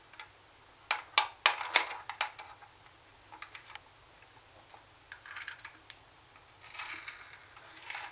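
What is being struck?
Plastic portable CD cassette player casing.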